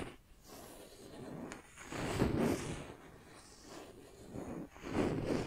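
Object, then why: Wooden makeup brush handle. Long nails scratch and tap along the flat surface of a solid wooden makeup brush handle held in one hand. The result is a soft, dry, broadband rasping texture that swells in two louder scratchy bursts, with quieter scraping in between.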